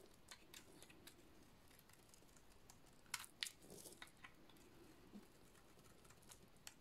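An oval, hand-sized bar of dry yellow soap with a black painted rim is held in one hand with dark-painted nails and scraped with a small metal blade, so shavings fall off. Quiet, irregular, crisp scraping ticks sound over a faint low background, with two sharper, brighter scrapes in the middle. Each stroke is dry and short, with almost no ring.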